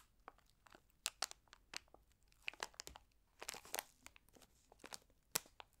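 A small printed Trolli gummy candy pouch of flexible plastic, holding gummies, is crinkled between long red-nailed fingertips. It makes sharp, bright crackles and crunches in quick, uneven bursts, with brief quiet gaps between them. Each crackle stops almost at once, with no lingering ring.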